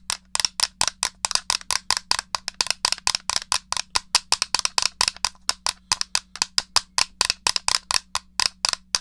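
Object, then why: Plastic game controller. A small, hollow grey plastic SNES controller, held upright, has its buttons pressed and its case tapped with fingernails. The result is a rapid run of about 44 sharp, dry, bright clicks and taps with almost no ring, over a faint steady low hum.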